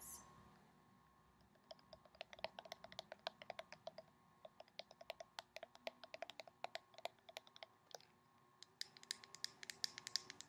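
Long painted nails tap and scratch along the body of a handheld white plastic cosmetic squeeze tube with a black cap, hollow and appearing filled with product. After a brief soft rustle, quiet, bright, dry clicks come in rapid, irregular bursts with almost no ring. They pause briefly near the end before a final, denser flurry.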